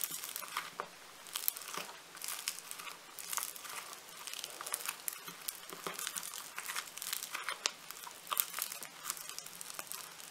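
Blue floam foam-bead clay is squeezed, then lifted and crumpled in a hand. The result is a dense, continuous bright crackling and crinkling with many tiny overlapping pops and almost no low end.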